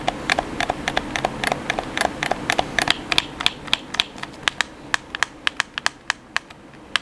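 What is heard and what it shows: Fingertips rapidly tap the face buttons of a black hollow plastic gamepad held in the hands. About 32 sharp, bright plastic clicks land in a quick, uneven rhythm, each dying away almost instantly over a faint steady hiss.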